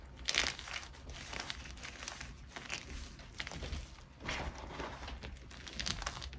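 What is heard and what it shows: Fingers with red nails press, crush and rub a spread-out pile of harder white gym chalk (magnesium carbonate) flakes and chunks flat against the surface. A steady, bright, gritty crunching and crinkling is heard, with louder bursts near the start and again in the second half as the pieces break down.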